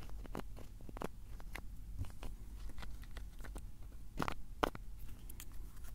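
Fingers twist the cap of a small blue plastic bottle, held in both hands, open and closed. The result is a run of quick, dry clicks and crackly ratchet-like ticks over a low, steady hum, with a couple of sharper snaps near the end.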